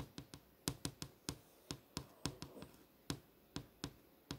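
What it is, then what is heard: LCD monitor screen tapped with a nail. A long fingernail taps on the solid panel of an LCD monitor screen displaying posters, giving 15 short, dry clicks at an uneven pace. Each tap is a brief bright tick with a soft low thud underneath, and it dies away almost instantly.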